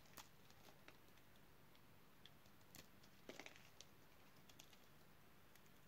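A utility knife blade cuts and scrapes small cubes off a solid, pale green oval bar of dry soap held in the hand. Quiet, sparse, crisp snaps and crunchy crackles, bright and very short, stand out over a low, steady background rumble, with a brief cluster of cracks near the middle.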